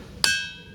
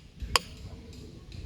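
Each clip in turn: First: One sharp hammer blow on a boulder rings with a clear, bell-like metallic tone that lingers. Second: A single sharp hammer blow on a grounded boulder gives a dry, dead chip with no ring.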